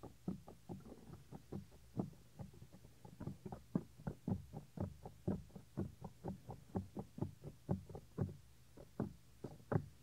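Fingertips cup, press and rub the small, solid, white soft silicone ear of a 3Dio binaural microphone. The result is a string of quiet, muffled, low thumps at about two per second, loosely timed, each dying away almost at once with little brightness above a dull low rumble.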